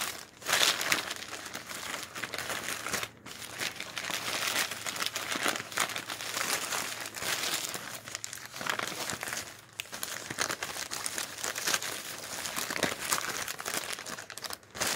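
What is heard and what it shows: A hand lifts and flips the pages of a stack of thin, glossy printed advertising flyers resting on a wooden deck, using its fingertips. The paper gives a steady, bright crinkling and rustling for the whole clip, with brief quieter pauses between handfuls.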